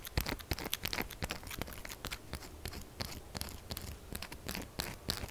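Long fingernails rapidly scratch and tap across the faces and edges of a pink, textured solid soap bar held at a tilt. The result is a dense, irregular stream of dry, crunchy scraping with sharp, bright clicks and very little ring after each stroke.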